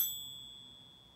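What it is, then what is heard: Genuine 24k gold coin. A 24 karat gold Buffalo coin, held in a coin-holding device, is pinged and gives a delicate, high, bright ring with several thin high tones. The ring fades steadily over about a second. The coin is judged to be genuine 24 karat gold with one of the best-sounding rings for such a coin.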